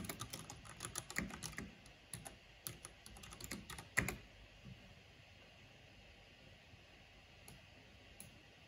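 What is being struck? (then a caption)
Plastic mechanical computer keyboard. Fingertips and long painted nails type on the keycaps of a full-size black plastic mechanical keyboard with purple RGB backlighting. Quick, irregular clicky taps come in dense bursts for about four seconds, with a sharp, louder tap near the four-second mark. A few isolated taps follow over a quiet background.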